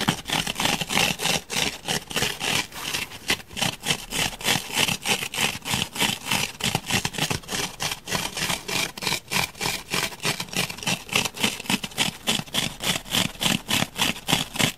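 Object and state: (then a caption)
Foam block being scratched. Fingernails scratch destructively into the surface of a solid grey foam block, scattering foam crumbs. Rapid, fairly steady scraping strokes, about three per second, give a dry, bright, crackly texture with little low end.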